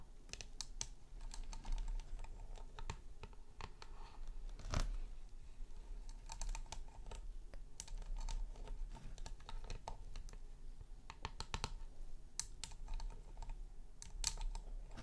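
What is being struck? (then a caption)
LED light base with chrome metal rim and frosted plastic top. Long nails lightly tap and scratch a round, low, hollow LED light base with a shiny patterned chrome rim and a glowing frosted plastic top. The result is a run of quick, dry, bright clicks and brief scratchy strokes that stop dead, over a steady low background rumble.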